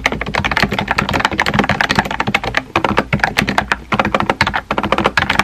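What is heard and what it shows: Fingertips type rapidly on a small pink and white plastic keyboard with round plastic keycaps and a hollow body. The result is a quick, steady stream of light, clacky key taps, each with a short, bright click that fades almost at once, and a few brief pauses between bursts.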